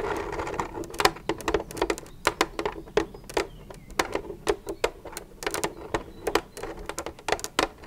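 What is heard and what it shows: Long nails tap rapidly on the side of an empty, hollow white plastic milk jug lying on its side. The result is a quick, irregular run of sharp, hollow clicks, each with a bright attack, a tonal body around 760 Hz and almost no ring, over a faint background hiss.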